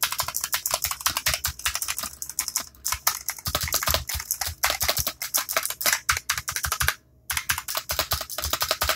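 One hand types quickly with its fingertips on a compact black plastic mechanical keyboard with clicky switches, resting on a desk mat. A steady stream of sharp, bright clicks and clacks rolls on, with a brief pause near the seven-second mark before the rapid typing resumes.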